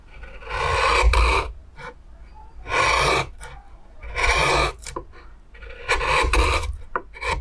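A metal gouge scrapes and cuts through the surface of a large, oval, pale wooden plate whose hollowed bowl is full of shavings, in a steady carving action. Four long, rough rasping strokes stand out, with shorter, fainter scrapes between them and a low rumble underneath.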